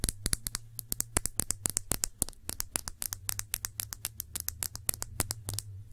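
Long nails tap and scratch a small glass perfume bottle held between both hands, with fingers partly covering it. About forty quick, dry, bright clicks with almost no ring come in an uneven rapid patter. A steady low hum sits underneath.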